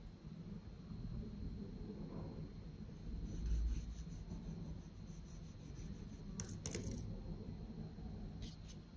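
A solid moulded block of pink kinetic sand with a studded top is sliced and scraped by a patterned metal kitchen knife held in the hand. The blade gives soft, low, grainy rubbing and cutting sounds through the sand, with a few brief bright crisp scrapes toward the end.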